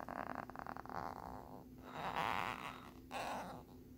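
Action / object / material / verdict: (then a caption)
scrape / hard plastic phone case with ridged lenticular surface / plastic / none. Short fingernails scratch the ridged surface of a small hard plastic phone case with a lenticular peace-sign print, held flat on a wooden board. A quick run of fine, ticking scratches gives way to smoother, drawn-out raspy scrapes that swell and fade, centered in the midrange with a bright hiss on top, over a faint steady low hum.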